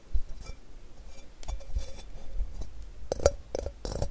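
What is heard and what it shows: A medium ceramic bowl with a rough crackle glaze, hollow and empty, is held upside down and tapped and scratched with fingertips and nails. Seven soft, dull taps each sound a brief hollow tone around 566 Hz that dies almost at once. Faint scratchy rustling fills the gaps between them.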